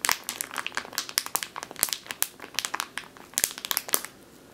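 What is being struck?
Plastic bag of flour.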